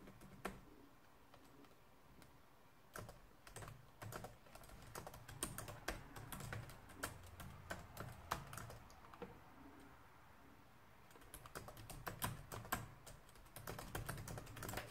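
Fingertips and nails type continuously on a black plastic laptop keyboard resting on a wooden desk. The keys give a steady stream of short, bright clicks with a low thud under them, thinning to sparse taps around the middle before the quick typing picks back up.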